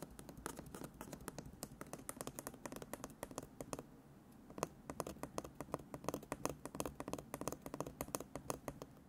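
Embroidered fabric stretched in a wooden embroidery hoop is held close and tapped quickly with fingertips and short nails. The result is a rapid run of short, dry, crisp taps with a brief pause near the middle before the tapping resumes.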